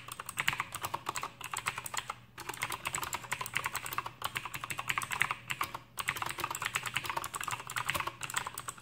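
An Aukey KM-G6 full-size backlit mechanical keyboard with plastic keycaps and clicky Outemu blue switches is typed on with the fingertips of both hands. A fast, steady stream of sharp, bright clicks with very short decay comes in bursts separated by brief pauses.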